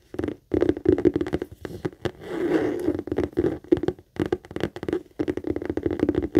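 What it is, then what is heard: Leather handbag tapped and scratched with nails. Long acrylic nails rapidly tap and scratch a medium pink saffiano leather handbag, which is hollow with a stitched base and metal feet. Bursts of quick, dry taps carry a hollow midrange tone and are broken by short pauses. A longer, steadier scratching rustle runs through the middle of the clip.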